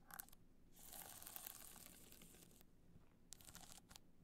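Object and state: Rhinestone-covered hard-shell clutch.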